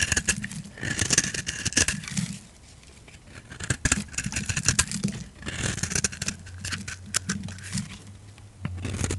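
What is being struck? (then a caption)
Soap bar. A solid, hand-sized bar of pink soap, held in a hand with long red nails, is scraped by a utility knife blade that shaves off curls. Dry, crackling scrapes come in bursts with bright hiss and sharp clicks, separated by brief quiet pauses.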